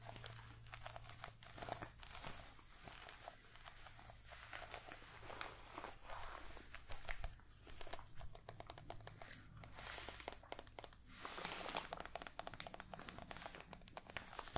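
A small, solid, real-looking orange mini pumpkin is held in both hands and scratched and tapped with long light-blue painted nails across its ribbed skin. The result is a dense stream of dry, crinkly scratches and quick bright clicking taps over a steady low hum, with a few louder bursts of scratching along the way.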